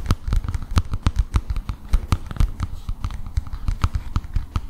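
A flat illustrated cardboard picture book with a palm tree picture, held upright in both hands, is tapped and scratched with fingertips and nails. A quick, uneven series of soft, dry taps, each with a deep low thump and a faint bright click, dies away almost instantly, with light scratchy rustling in between.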